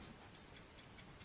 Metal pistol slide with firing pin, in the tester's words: the rattle means that it's clean and it's clear and it's free from obstructions